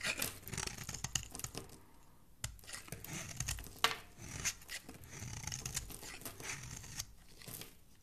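A flat metal blade scrapes and carves a small, solid pink bar of soap with a ridged edge held in one hand, shaving off curls and flakes. Bright, dry, crackling scrapes come in a series of uneven strokes with brief quiet gaps, some sharper snaps standing out.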